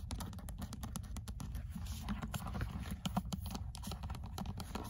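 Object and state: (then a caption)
Paperback book, tapped and scratched. Long acrylic nails rapidly tap and scratch the cream card-paper cover of an old paperback copy of "L'être et le néant," held in hand, its solid paper block beneath. The result is a dense stream of dull, low-heavy taps with very short decay, mixed with faint, brighter scratching clicks.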